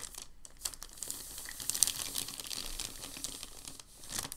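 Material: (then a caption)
Paper. A hand rubs and presses across a crinkled sheet of thin packing paper lying on a table. The result is a steady stream of dense, bright crackling and crinkling with sharp little snaps, swelling toward the middle and dipping briefly before picking up again at the end.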